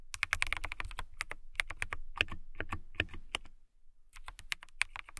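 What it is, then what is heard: Clear acrylic mechanical keyboard being typed on. Long nails type rapidly on a clear acrylic mechanical keyboard with transparent, RGB-lit keycaps. The result is a dense run of sharp, bright clicks with a low thump under each press and a brief pause near the end before the typing resumes.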